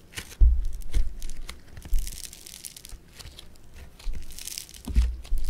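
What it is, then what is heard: Foam bead clay crackling when squeezed. Blue foam bead clay (floam) is flattened, stretched and pressed with fingers and thumb, giving bursts of bright crackling and fizzing over soft, low, dull thumps as the clay is squeezed. The crackles come in uneven waves that swell and fade, with short, dry pops and no ringing.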